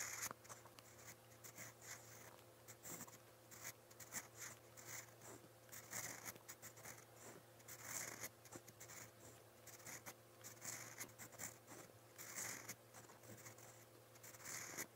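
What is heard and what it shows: A steel fountain pen nib scratches strokes onto lined white paper in a spiral notebook. The sound is a quiet, bright, continuous scratching made of many short strokes over a faint steady low hum.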